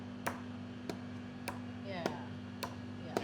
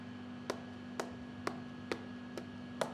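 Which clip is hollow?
The second.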